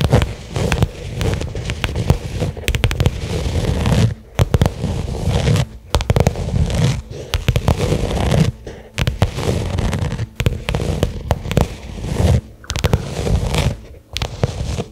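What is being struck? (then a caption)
Small leather case. Long nails tap fast on a small, flat black pebbled-leather case lying on carpet. The result is a dense, crackling stream of dull, low-heavy taps with little brightness and almost no ring. The tapping comes in bursts separated by brief pauses.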